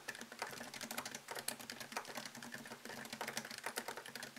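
Fingertips type on the keys of a MacBook Pro laptop keyboard with plastic keycaps set in an aluminium body, the laptop plugged in with a white cable. A quick, steady stream of soft, bright clicks and taps is heard, each one short and dry with almost no low end.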